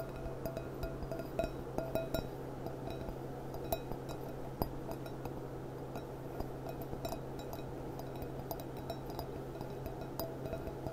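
Long dark nails tap the bowl of a small, clear, gilt-rimmed glass goblet with a gold band from both sides while it sits hollow, empty and upside down. Many quick, bright clinks with very short ring sound over a steady low hum.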